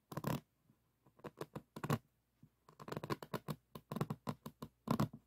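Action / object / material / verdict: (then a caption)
scrape / resin bead diamond painting on a board / resin / none. Fingertips and thumbs rub and scratch across the resin beads of a diamond painting on a board. About twenty short, dry, raspy bursts come in uneven clusters, each with a crackly texture and a soft low body, stopping quickly with quiet gaps between them.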